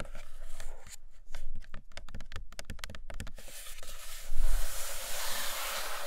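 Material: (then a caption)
Cardboard. Long nails scratch and tap the glossy printed top of a large iPad Pro cardboard box. Quick, dry taps come in a rapid run through the first half. They then give way to a steady, bright, hissy scratching across the surface.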